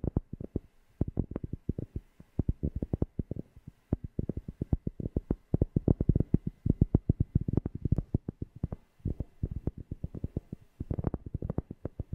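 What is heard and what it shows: A cork object is tapped rapidly near a FIFINE K690 microphone, producing a steady stream of deep, bassy thumps. Each tap is short and dull with almost no ring, its energy sitting mostly in the low end around 140 Hz with nothing bright above.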